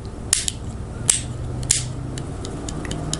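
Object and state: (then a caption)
Tight knife safety switch, no rattle. A thumb taps the safety lock switch on a Benchmade Casbah automatic folding knife, giving three sharp, bright clicks followed by a run of lighter ticks. The switch stays firmly in place with no rattle, a tight, solid safety with an authoritative click.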